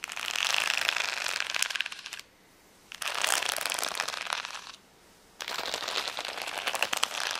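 Long nails scratch quickly over the gem rows of a flat plastic rhinestone sticker sheet resting on a towel. The sound comes in three bursts of dense, bright, crackly scratching, each about two seconds long, with short quiet pauses between them. There is almost no low end, and the clicks are dry with no ring.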